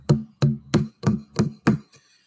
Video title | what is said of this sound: LIVE - What do YOU want to talk about? #youtube #live #vinyl | listen to the dull thud D dull thud is vinyl and that's desirable that's what you want